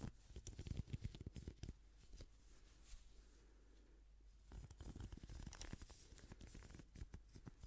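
Gloved fingers scratch and strum the bristles of a pink plastic hairbrush held close to the microphone. The sound is quiet, dense, rapid crackling and ticking with soft low bumps and faint bright scratches. The clicking thins to a faint hush in the middle before picking up again.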